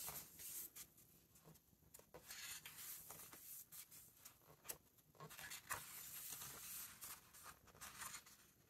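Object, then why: Thick paper pages of a large hardcover book. Fingertips turn and rub flat the thick illustrated paper pages of a large open hardcover book. Soft, bright papery rustles and crisp page flicks repeat through the clip over a faint hiss.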